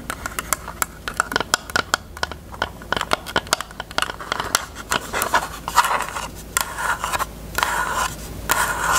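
Long nails tap and scratch a closed, hollow, pink hard plastic rectangular case with a cherry print. Quick, sharp, bright clicks come in a steady run, then give way to denser, rasping scratches with a short, hollow ring around 1 kHz.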